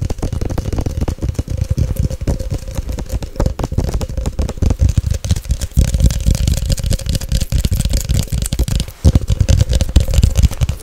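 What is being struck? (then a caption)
Glass jar with lid. Long nails tap fast on the glass body and label of a Nescafé glass jar with a gold lid, held close to the microphone. The result is a dense, steady stream of rapid, dry taps with a heavy low thump and very little high-end sparkle.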